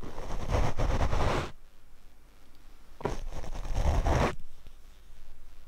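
A paint brush is brushed across the black foam windscreen of a Rode microphone, producing two long, rough scratchy sweeps heard as a dense, muffled crackle with a heavy low rumble. A quiet pause separates the two passes.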